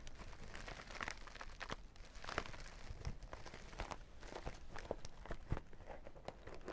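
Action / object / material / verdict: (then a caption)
scrape / sequin-covered zippered pouch / plastic sequins / none. Long dark nails scratch and tap across the reversible sequins covering the flat face of a small zippered sequin makeup bag. The result is a quiet, steady, crackling rasp dotted with sharp, brief ticks and clicks that die away almost instantly.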